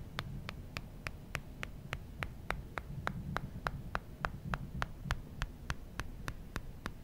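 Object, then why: Smartphone with glass front screen. Fingertips tap and rub the glass front screen of an original iPhone, a small solid handheld phone. About 24 short, dry, bright ticks come at a steady quick pace, roughly three per second, over a constant low hum.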